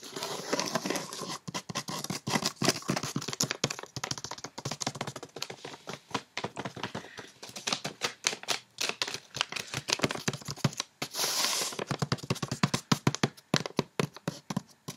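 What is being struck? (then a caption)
Paper-wrapped cardboard box. A medium rectangular cardboard box, wrapped in white paper with a snowflake print and a small silver bow, hollow with unknown contents, is tapped and scratched quickly on its wrapped top with long painted fingernails. Rapid, dense clicking taps mix with bright, papery scratching, each hit dry and short with almost no ring.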